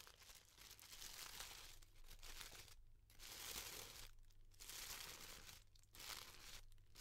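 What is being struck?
Tissue paper pom-pom flower.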